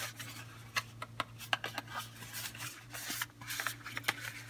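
A small, closed Coastal bar soap box of thin printed paperboard, patterned in pink and black with a bar of soap inside, is held in both hands, tapped and scratched with long painted fingernails, then pressed flat against a marble table. About eleven short, bright, dry taps cut through soft scratchy rubbing, and metal rings on the fingers may click faintly. A steady low hum runs underneath throughout.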